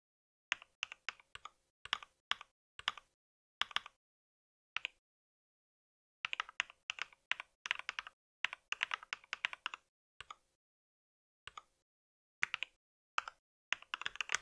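Fingertips type on a compact white mechanical keyboard with plastic keycaps, producing bursts of sharp, bright clicky key taps separated by short pauses. The clacks are crisp and dry with almost no low end and die away instantly.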